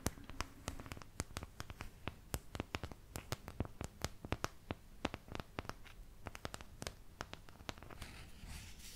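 Long nails scratch and tap the wells of a thin, empty, oval white plastic paint palette held close to the mic. A rapid series of sharp, clicky taps rings only briefly over a soft, low scratching bed. The taps give way to brighter, steadier scratching at the end.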